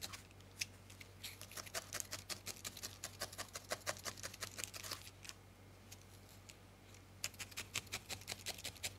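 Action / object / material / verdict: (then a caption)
tap / felted wool ball and steel felting needle / wool / none. A thin steel felting needle is repeatedly stabbed into a small, solid ball of grey-white felted wool held between the fingertips, close up. Rapid, crisp, bright pokes crunch and tick in quick uneven bursts over a faint steady low hum. There is a quieter pause near the middle before the stabbing resumes.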